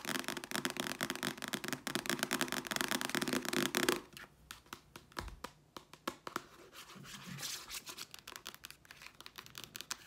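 Long nails scratch and tap quickly over the glossy paper cover and spine of a small, solid red paperback novel held upright in both hands. The first four seconds bring dense, bright, rapid scratching. The rest is quieter, with sparser taps and light scraping.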